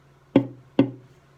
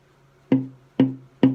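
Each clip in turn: First: cedar ukulele soundboard with good tap tone. Second: sycamore ukulele soundboard tap tone.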